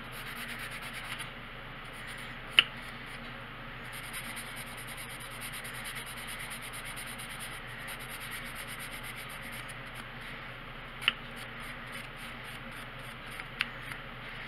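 A wooden colored pencil held in the fingers rubs and scratches back and forth across a thin printed paper page of a coloring book lying flat on a wooden table. A steady, soft, bright hiss of graphite on paper continues throughout, with a few sharp, brief ticks standing out above the quiet scratching.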